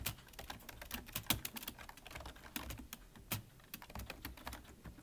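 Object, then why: Plastic computer keyboard. Fingertips of both hands type continuously on a full-size black plastic computer keyboard with a hollow body. The result is a steady run of quick, short, bright key taps with little ring and a faint low thud under each, a few landing harder than the rest.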